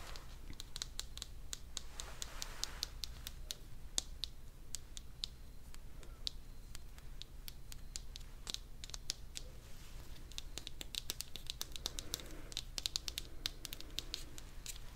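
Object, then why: Small vinyl toy figure. A small green spiky Tokidoki vinyl figure, likely hollow, is held in the hands and scratched and tapped with long dark nails. Dozens of quick, dry clicks and taps ring out with a bright edge and die away almost instantly, mixed with soft scratching, over a steady low hum.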